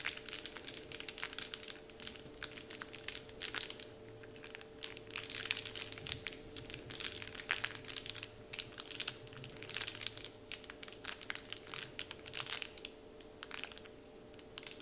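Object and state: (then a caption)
Paper candy wrapper sheet being crinkled. Fingertips and nails tap and crinkle a large, flat, heart-shaped Dove-printed paper candy wrapper sheet lying on a table. Bursts of bright, crisp crackling and rustling come in dense clusters with short quieter gaps, and a faint steady tone hums underneath throughout.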